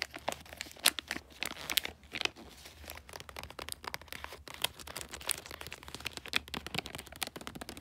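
Fingers and nails scratch and crinkle the glossy, light blue bulldog-print wrapping paper and its folds on a small flat gift. The result is a dense run of bright, crisp crinkles and quick sharp scratches, with a faint steady low hum underneath.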